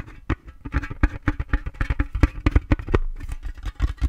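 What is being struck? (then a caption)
Round metal tin box. A round, hollow, flat painted metal tin with an orange rim and a colourful painted lid is held close to the microphone and tapped by fingertips and nails on the lid and rim. The taps come as a quick, uneven series of short, deep knocks with a brief, ringing, cowbell-like tone.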